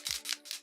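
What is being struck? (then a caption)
Plastic cosmetic spray bottle with a mixing ball. A Cover FX Illuminating Setting Spray bottle holding glitter is shaken four times, and the mixing ball inside rattles with bright, brief clicks like a paint can. The ball must be shaken to mix the spray, or the glitter will splatter onto the face.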